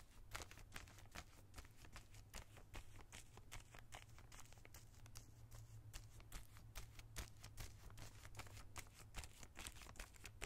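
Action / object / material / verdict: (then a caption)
scrape / plastic zip-lock bag holding plastic collar stays / plastic / none. A small clear plastic zip-lock bag with white plastic collar stays inside, lying on a towel, is brushed and scratched with a small bristle brush. The strokes make quiet, bright, crinkly scratches in a brisk, uneven rhythm, each dying away almost instantly. A steady low hum sits underneath throughout.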